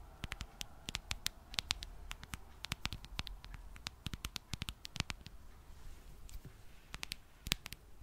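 Long dark nails tap and scratch the back of a smartphone in a dark plastic case fitted with a popsocket. The result is an irregular run of sharp, bright, dry clicks that stop instantly with no ring, over a steady low rumble and faint hiss.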